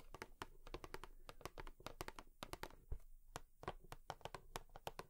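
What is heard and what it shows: Long nails tap rapidly on a cardboard tissue box, producing a quiet, irregular stream of sharp, bright clicks. Each tap is crisp and dies away almost at once, over a soft low background rumble.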